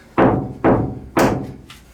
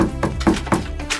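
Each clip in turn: First: Three boomy knocks on a bare steel van wheel arch; it drones and rings, showing it is undamped. Second: Four short, dull thunks on a steel wheel arch; the deadened panel stops almost at once, with no tinny ring.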